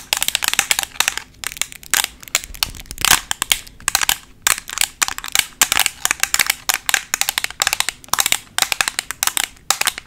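A black rectangular Makeup Revolution plastic eyeshadow palette, a flat closed case held in both hands, is tapped quickly with long nails covered in paperclips. Rapid bursts of sharp, bright clicks and light rattles come with almost no low end, and each tap dies away almost instantly.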